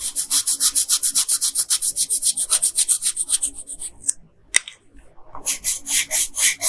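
A hand with long pink nails rubs a yellow colored pencil in quick back-and-forth strokes over the hair on a flat paper coloring page. The result is a steady, bright, papery scratching at roughly three to four strokes per second. It breaks off into near-silence with a couple of small ticks, then the stroking resumes.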